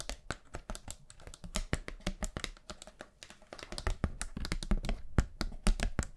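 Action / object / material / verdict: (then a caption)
tap / paper hand fan with bamboo ribs / paper / none. Long nails tap fast on a thin, flat, round pastel paper hand fan with bamboo ribs. The result is dozens of quick, dry, crisp taps in an irregular rhythm, each with a bright click and almost no ring.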